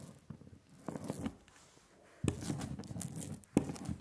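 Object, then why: Printing ink on a glass slab rolled with a rubber brayer. A hand-held rubber brayer is rolled repeatedly over a layer of sticky black printing ink on a glass slab. It makes a tacky, crackling, tearing sound that comes in uneven low-pitched swells, with two sharper, louder bursts later in the clip.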